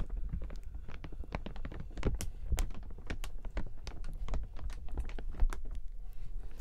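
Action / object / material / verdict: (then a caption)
scrape / plastic umbrella canopy / plastic / none. A large open clear plastic umbrella with metal ribs is turned while fingertips rub its canopy. The result is a dense run of quick crinkling and rustling ticks with a low thumpy undertone.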